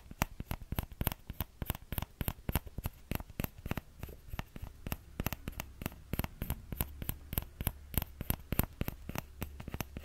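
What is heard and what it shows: A small orange plastic ladle is held by its thin handle while the fingertips and nails of the other hand tap and scratch its empty scoop close to the microphone. Quick, dry, irregular taps with a soft low thump and bright clicky edges follow one another at about three per second, mixed with faint scratching, and each tap dies away instantly with no ring.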